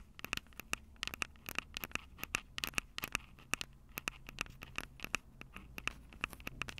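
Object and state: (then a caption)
Handheld recorder microphones, scratched and tapped. Long purple acrylic nails scratch and tap the two metal-grilled microphone capsules of a Tascam DR-05 handheld recorder with a plastic body. The result is a rapid, irregular stream of sharp, dry clicks and scratchy ticks, each with a faint bright ping near 2.6 kHz, set over a low, steady hiss.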